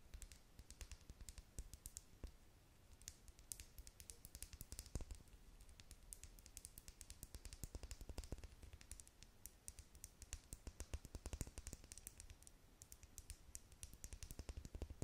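Long acrylic nails tap rapidly along the side of a small, hollow, clear plastic lip gloss tube with a metallic cap, partly filled with pink gloss. The taps come as a dense, steady stream of quiet, crisp clicks with bright edges that die away almost instantly, over a soft low hum.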